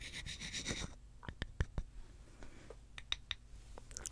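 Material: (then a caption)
Wood. A small, solid reddish-brown wooden block is held in the hands in front of the microphone and rubbed and scratched with long fingernails and fingertips. A dense, bright scratching rustle fills the first second, then gives way to a quiet run of sharp, dry clicks and scratches with very little ring.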